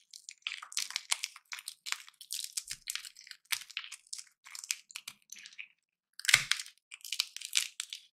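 Small, dry, hollow roasted peanuts in their papery shells are cracked open between the fingertips of both hands over a pile of peanuts, while a metal nutcracker lies unused on the table. Quiet, bright, crisp crackling and crunching bursts come in quick clusters with almost no low end. After a brief silence, a sharper, louder crack stands out before the brittle crackling resumes.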